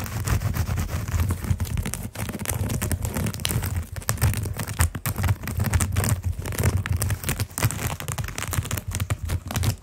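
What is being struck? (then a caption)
Coiled jute rope mat. Fingertips and short nails scratch along the coils of a round, flat, solid coiled jute rope mat. A steady run of rapid, dry scratching strokes continues for about ten seconds, with a heavy low rumble underneath and a few brief pauses.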